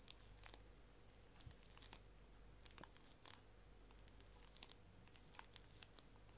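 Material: Plastic film.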